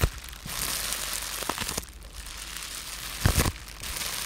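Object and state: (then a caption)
Plastic bubble wrap being squeezed and popped. A rolled-up tube of blue-tinted polyethylene bubble wrap with air-filled bubbles is held in both hands while fingertips and short nails squeeze and pop the bubbles. A steady bright crinkling rustle runs throughout, broken by several sharp, short snapping pops, with the loudest cluster about three seconds in.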